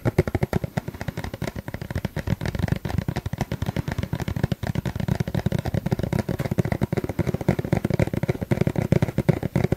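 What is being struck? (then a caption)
Plastic sunscreen tube. Fingers tap rapidly and continuously on a plastic sunscreen tube. The taps are dull, low, hollow thuds with almost no high-frequency content, and each dies away almost instantly.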